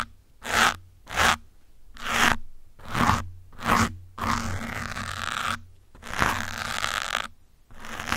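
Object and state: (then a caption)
Foam microphone windscreen scratched with metal pins. Metal pins held in the fingers scratch the top and side of a grey foam windscreen on a black microphone, giving a dry, crunchy, broadband scraping. Five short strokes come first, then longer, steadier rubbing passes.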